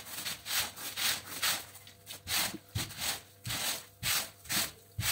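A long-handled stiff-bristle push brush scrubs a very dirty, wet, patterned woven fabric rug lying flat on a wet tiled floor. About twelve quick, uneven strokes produce bright, high-pitched scratchy rubbing bursts with a soft low thump at the start of several, each fading quickly.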